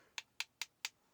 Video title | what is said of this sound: Unboxing and Review of Uni-T UTi260B | these are a hard plastic you can tell maybe if I tap it with something